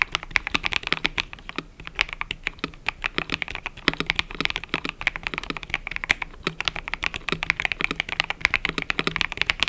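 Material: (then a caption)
Plastic. Fingertips type continuously on a cream and purple mechanical keyboard with plastic keycaps. It makes a rapid, steady stream of short, crisp clacks that are bright and thin, with little low end and no ringing after each keystroke.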